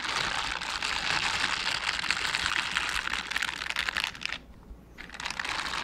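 One hand in a mint-green silicone bristle scrubber glove brushes and rubs across the bristle side of the other gloved hand. The result is a dense, bright, crackly scratching hiss that carries on steadily, drops to a near-pause just past four seconds, and then picks up again.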